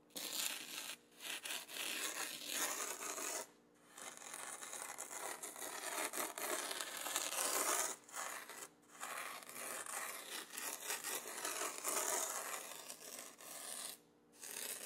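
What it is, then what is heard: Fine sand being scraped on an adhesive paper sheet. A red plastic spoon is rubbed and scraped back and forth over fine black sand fully covering a flat adhesive paper sand-art sheet, pressing the sand down. The result is a steady, bright, gritty rasping and scratching with no low end, broken by a few brief pauses between strokes.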